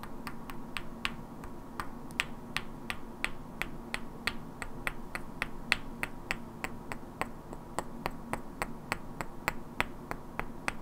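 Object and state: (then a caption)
Pair of wooden blocks knocked together. Two identical, hand-sized solid wooden cubes painted with black characters are held in both hands and knocked and clicked against each other, while long natural nails tap their edges. About 33 sharp, bright clicks with almost no ring sound at a steady, even pace over a low, constant background hum.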